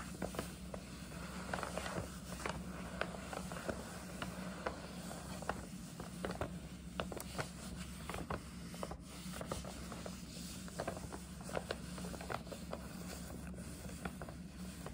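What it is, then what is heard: Paper gift bag being scratched. Long nails rub and scratch the sides of a hollow, printed paper gift bag, making soft papery rubbing broken by many sharp, brief scratches and crinkles. A steady low hum runs underneath throughout at a quiet, close level.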